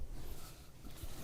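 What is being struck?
Nothing is struck.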